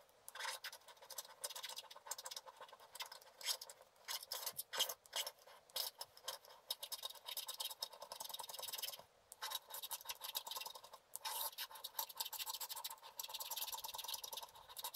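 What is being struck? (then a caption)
Scratch-art paper card scraped with a wooden stylus. A wooden stylus scratches the black coating off the water and lotus areas of a flat scratch-art paper card. Quick, dry, bright scratching strokes run almost continuously, with brief pauses around 9 and 11 seconds. The sound is concentrated in the upper range around 3 kHz and has no low end.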